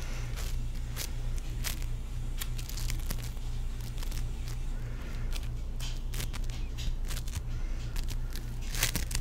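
A palm-sized, solid teal ball of sticky foam-bead play foam is held in one hand while fingertips rub and squeeze its surface. This makes irregular crisp crackles and soft crinkling pops with bright, high edges. A steady low hum runs underneath throughout.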